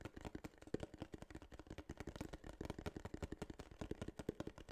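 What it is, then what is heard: Kraft cardboard box. A small, hollow tan kraft cardboard case is tapped quickly with fingertips and nails. The result is a steady run of soft, dull, hollow taps with short clicky edges, each dying away almost instantly. The taps are mostly low and muffled with little brightness.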